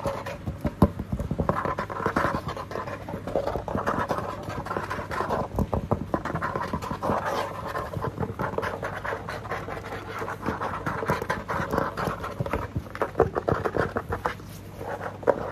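Fingertips and nails scratch and tap across the large, flat, plastic-laminated surface of a dark blue cardboard ring binder cover from an office binder. The result is a steady, dry rustling scrape in the midrange, broken by many quick, soft taps that die away instantly, with a faint low hum underneath.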